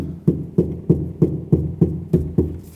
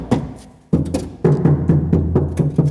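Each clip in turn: First: car door sheet metal, damped with deadening mat. Second: hollow-sounding car door sheet metal.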